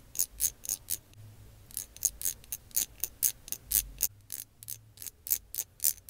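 A small, slim translucent lilac plastic lip gloss tube, held in the fingers, is tapped and scratched with long acrylic nails. About 22 short, crisp, bright clicks and light scrapes come in an uneven rhythm, with almost no low end and very little ring after each hit.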